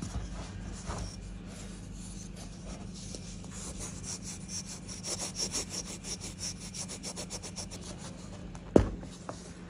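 Small solid white blocks of pressed baking soda, crumbly and dry like gym chalk, are held in bare fingers and rubbed and scraped against each other over a bed of loose powder. A steady gritty, sawing-like scrape grows into a run of rhythmic bright rasping strokes. It ends with one sharp crunching snap near the end.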